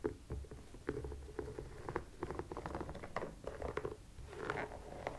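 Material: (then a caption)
Rubber. Long nails scratch and tap the textured rubber sole and sidewall of a white sneaker as it is turned over. The result is a quick, uneven run of soft, dull clicks and short scratches with a low, muffled body and almost no ring.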